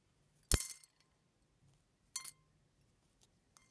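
Fingers press and crack large pieces of brown eggshell with a white lining resting on top of a pile of eggshell flakes. A loud, bright crackle comes first, followed by a second sharp crunch and then a few faint small cracks.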